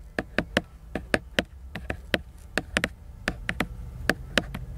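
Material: Cardboard.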